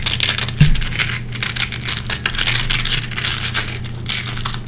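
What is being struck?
Nylon hook-and-loop hook strip.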